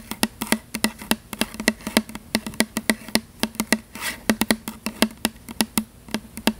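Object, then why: Plastic body mist spray bottle. Long fingernails tap and scratch quickly over the surface of a tall plastic "Butterfly" body mist spray bottle with a printed label, held close to the mic; the bottle is hollow and apparently filled with liquid. About three dozen sharp, bright clicks come in an uneven rhythm, each with a short hollow knock in the low-mid range that dies away almost at once. A soft scratching swish fills the gaps.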